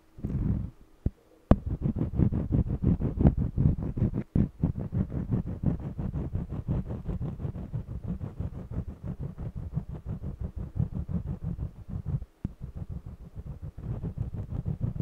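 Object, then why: Stretched cotton canvas panel rubbed with a wax crayon. A yellow jumbo wax crayon rubs and scratches across the weave of a small stretched cotton canvas panel on an easel. The result is a dense run of rapid, rough back-and-forth strokes with a low, muffled rumble. Brief pauses break it up near the start and middle and toward the end.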